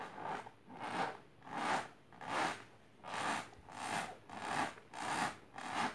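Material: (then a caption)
Fabric. Long silver-grey painted nails scratch quickly and rub along a pink patterned fabric-covered box resting on purple cloth. Repeated dry, scratchy strokes rise and fall in a steady rhythm, each a bright hiss centered in the mids with almost no low end.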